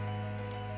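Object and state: Nothing is struck.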